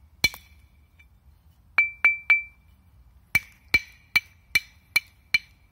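A thin, flat, solid limestone slab is held in one hand and knocked repeatedly with the other hand while being tuned. It gives 11 short, ringing clinks at a bright pitch of about 2.3 kHz, each fading quickly.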